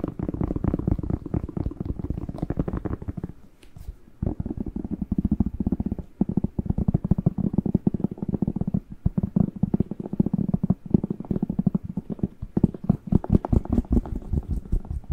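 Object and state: Bell pepper tapped and scratched.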